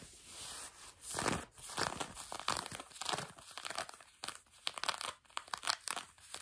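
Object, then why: Denim jeans fabric. Long nails scratch back and forth on blue denim jeans stretched over a bent knee, producing dry, raspy bursts of scratching. The strokes come in an uneven series of bright, crackly swipes, some longer and some quick and short, with little low end.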